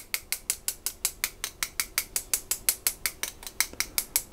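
A small hand-held stainless steel mesh sieve with a wire handle, partly filled with flour and held over a loaf on a baking tray, is tapped and shaken with the fingertips to dust flour. It gives 24 rapid, evenly spaced rattling ticks that are bright and high, each dying away almost instantly.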